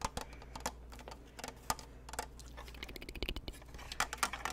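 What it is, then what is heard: Plastic snow globe lantern. A white snow globe lantern with a plastic frame and clear panels around a glittery Santa scene is held up and tapped quickly with fingertips and nails on its top, frame and panels. The result is a rapid, uneven patter of short, dry plastic clicks and taps with a bright edge and almost no ring, over a steady low hum.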